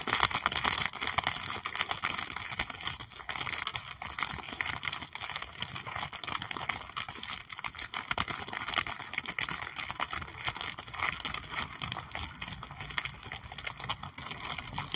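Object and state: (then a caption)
Plastic sleeve sticker album page. Long acrylic nails tap and scratch the clear plastic sleeve pages of an open sticker album holding puffy stickers, lying flat and solid on a table. A dense, steady stream of quick, bright clicks and crinkly scratches continues throughout, each tap dying away almost instantly with little low end.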